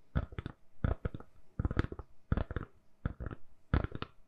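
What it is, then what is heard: Silicone phone case. Long nails tap and scratch a hand-sized, solid lilac silicone-covered phone case fitted on a phone. Six quick clusters of soft, dull taps sound over four seconds, with light scratching between them. The sound stays low and muffled, with almost no bright edge.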